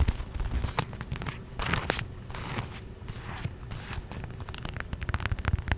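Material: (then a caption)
Vinyl. A small red and green watermelon-print inflatable vinyl pool float, hollow and air-filled, is held in the hands and tapped and rubbed with long nails and fingertips close to the microphone. Quick, dull, low thumps mix with crackly, scratchy bursts of rubbing and brief bright clicks, each dying away almost instantly.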